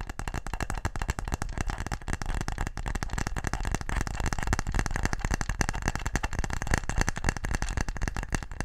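A small brown wooden box-shaped case, closed and held up, is tapped quickly with fingertips and nails. The result is a dense, irregular stream of short, dry, low-pitched taps and clicks that continues without a break.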